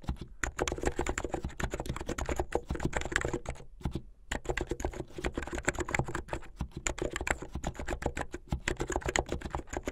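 Fingertips with medium-length painted nails type fast on a plastic mechanical keyboard with white and blue plastic keycaps. A dense stream of short, crisp clicks and clacks with a low thud under each stroke, broken by a brief pause near the middle before the rapid typing resumes.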